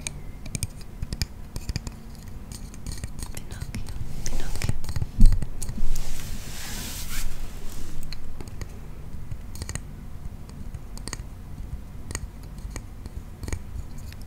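A small red painted wooden frame toy with a string-hung wooden acrobat figure is held in the hands, its sticks squeezed so the wooden parts click and clack, and it is also handled with the fingers. Many quick, dry clicks and taps repeat irregularly throughout. A louder, brighter rustling and clattering swell comes through the middle before it settles back to soft clicking.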